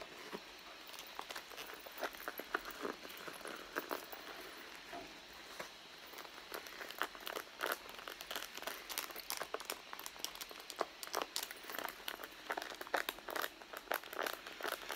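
Long blue nails scratch and tap the leather panel of a medium red pebbled-leather handbag resting on a mat. The result is a quiet, steady run of dry, scratchy rustling broken by many sharp, quick taps and clicks, all bright and thin with no low end.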